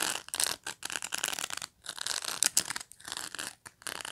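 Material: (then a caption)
Plastic. Long nails scratch and flick the rows of plastic pin bristles on a black pet brush, which is briefly tilted. The result is a series of dry, bright, crackly scraping bursts with short gaps between them, almost no low end, and no ringing after each stroke.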